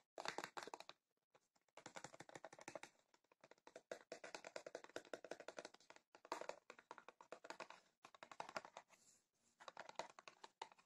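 A hand-held rectangular printed cardboard tea box, hollow with tea bags inside, is tapped rapidly with long painted fingernails. Bursts of quick, dry, clicky taps come in clusters separated by short pauses. The clicks are sharp and short with a mid-pitched hollow tone and bright edges.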